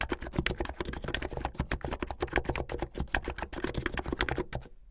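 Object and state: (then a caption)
Plastic mechanical keyboard. Fingertips with medium-length painted nails type fast on a plastic mechanical keyboard with white and blue plastic keycaps. A rapid, steady stream of clacky keystrokes has a deep low thud beneath bright, sharp clicks. Each stroke is short and dry, and the typing tapers off at the end.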